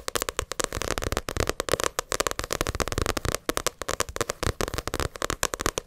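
Long acrylic nails rapidly tap and scratch the glossy cover of a paperback Naruto manga volume. The result is a dense, continuous run of sharp, dry clicks and bright, crackly scratching with a faint midrange tone, and each tap dies away almost instantly.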